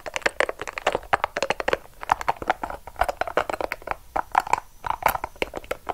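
A small, hollow, yellow-and-purple soft rubber spiky ball is squeezed and crushed in the hand while long acrylic nails dig into and scratch its spikes. It makes a rapid, continuous stream of short, dry crinkling clicks and scratches, centered in the midrange with bright edges and little low end. Each tick dies away almost instantly.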